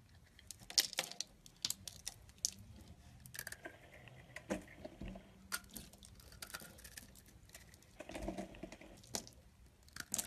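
A yellow-handled knife scrapes and shaves thin flakes from a solid tan bar of soap held in the hand. Short, crisp, bright scraping and crackling strokes come one after another with quiet gaps, plus a few longer, softer shaving passes.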